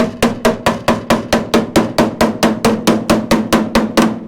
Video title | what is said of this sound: e.10, continued rust repair on C30 crew cab. Rockers and floor pan replacement | it's solid right above that